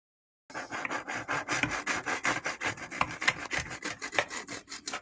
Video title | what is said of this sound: Baked Spaghetti Garlic Cheese Bread Bowl | Hear the crisp sound of that bread.